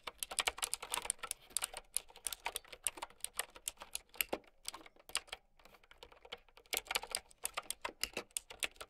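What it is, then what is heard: Plastic mechanical keyboard. Long nails type on a plastic mechanical keyboard with round keycaps, producing a rapid run of sharp, bright clicks. The clicks are dry and quick, with almost no low end and a brief lull around the middle before the typing picks up again.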